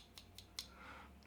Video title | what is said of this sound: Better Then The Joby Gorillapod! The Ulanzi Octopus Tripod | hollow plastic you can hear it's hollow